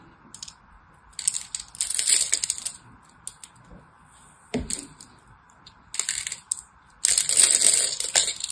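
A solid orange-and-white striped bar of soap is cut into small cubes with the tip of a knife, and the crumbs fall away. Bursts of crisp, bright scraping and crackling come in irregular clusters, with short quiet gaps between them. The loudest stretch comes at the end.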